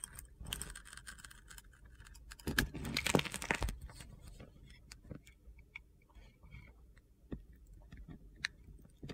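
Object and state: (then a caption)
Glitter-coated soap bar being carved. A metal utility knife blade scrapes and carves a palm-sized solid bar of soap with orange and dark layers and a crusty teal glitter coating, held in one hand with long red nails. It makes dry, gritty crunching and scraping, with a louder, denser stretch of carving near the start followed by scattered sharp crackles and ticks as crunchy slices and gritty crumbs shave off.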